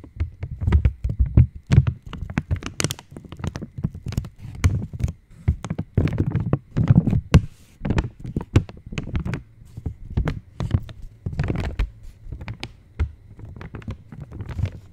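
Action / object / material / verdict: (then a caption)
tap / metallized plastic chocolate wrapper / metallized plastic / none. An opened purple Cadbury Dairy Milk wrapper of foil-lined metallized plastic is tapped and scratched with long nails. Rapid, irregular soft taps and thumps sit mostly in the low range, with brief brighter crinkling scratches between them. Each hit is short and dull, dying away almost at once.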